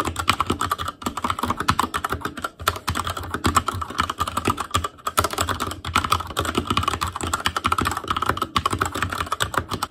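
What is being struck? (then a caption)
Mechanical keyboard with plastic keycaps. Both hands type with their fingertips on an Asus Claymore Core backlit mechanical keyboard with plastic keycaps. A steady, rapid stream of short, sharp clacks runs throughout, with a prominent tone around 1.3 kHz and a soft low thump beneath each keystroke. Each key sound dies away almost instantly, with only brief pauses between bursts of typing.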